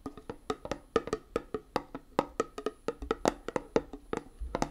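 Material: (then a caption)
Metal. A small round metal tin of hand putty with a printed "Hand Gum" lid is held closed in one hand while long nails tap quickly on the lid. About 25 fast, dry, clicky taps are heard, each with a hollow knock near 450 Hz and a bright tick that dies away almost instantly, in an uneven, quick rhythm.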